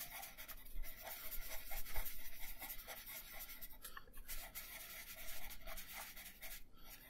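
A purple wooden colored pencil scratches across a thin paper coloring sheet resting on a wooden table in small, quick coloring strokes. The result is a steady, bright, dry rasp that rises and falls with each stroke, with faint low thuds underneath.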